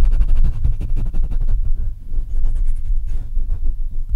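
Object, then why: Microphone with metal mesh grille. Fingertips rub and tap the metal mesh grille and upper body of a black Blue Yeti microphone. The result is a deep, boomy rumble of close-up thumps and scratching, heavy in the low end around 62 Hz. The thumps run dense through the first half-second and ease into softer rubbing near the two-second mark before picking up again.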